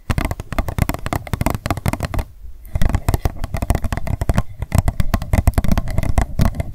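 An empty, hollow, transparent pink plastic cup is held and then set down while long nails tap and scratch it rapidly. The result is a dense stream of quick, dull, low-heavy clicks and scrapes with almost no ring. The stream pauses briefly around the middle, then picks back up.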